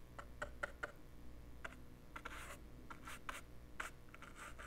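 The tip of a green-handled paintbrush brushes and scratches a small, handheld, dark plastic portable cassette player with a hollow body, held in one hand. Quiet, dry scratchy strokes and brief ticks carry a faint tonal ring near 1.4 kHz and bright hissy swishes. A steady low hum runs underneath.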